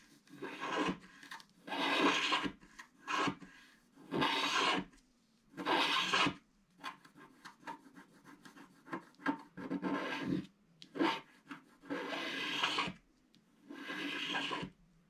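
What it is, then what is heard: Scratch art card being scratched. A wooden stick stylus scratches along the edges of a flat, black-coated scratch art card sheet. The result is a series of dry, raspy scraping strokes with a bright, papery hiss. Longer drawn-out scrapes alternate with short, quick flicks, separated by brief pauses.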